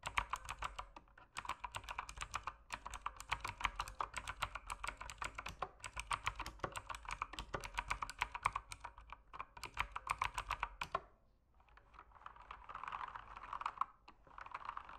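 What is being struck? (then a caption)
Mechanical keyboard with plastic keycaps. A mechanical keyboard with plastic keycaps is typed on with fingertips, producing rapid, sharp clicks and clacks in bursts separated by brief pauses for about eleven seconds. After a short gap, the sound becomes a softer, denser clatter centered in the midrange.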